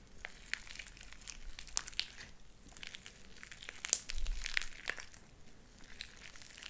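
A light-blue sticky slime with white beads is squeezed in the hand and pulled apart into strands. The result is a steady run of crackling and bright popping clicks over a soft, continuous squelch.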